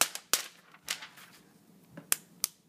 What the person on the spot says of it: You can even flick it. You can hear the difference. Yeah, so there's definitely a coin in there.